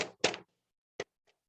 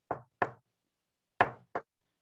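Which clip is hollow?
The first.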